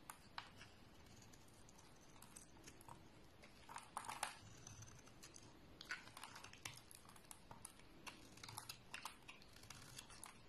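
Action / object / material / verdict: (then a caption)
scrape / bar of soap / soap / none. A flat blade scrapes thin shavings from the surface of a solid brown oval bar of soap held in the hand. Quiet, dry scraping is heard, with many small crisp ticks and bright crackles over a soft low rustle.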